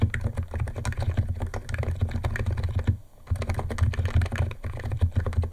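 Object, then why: Plastic keyboard with plastic keycaps. Fingertips of both hands type fast on a white compact 68-key Niz ATOM 68 keyboard with electro-capacitive switches, white plastic keycaps and a plastic case, resting on a wooden desk. It makes a dense run of short, deep, muted clacks with very little brightness. The typing pauses briefly near the middle before resuming at the same pace.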